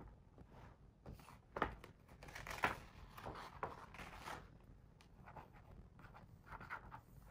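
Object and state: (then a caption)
Hardcover picture book, page tracing and turning. A fingertip traces the text on the paper page of a hardcover picture book, making a quiet, dry rubbing and scratching. A page is turned with a brief, louder papery swish, and the soft tracing continues on the next spread.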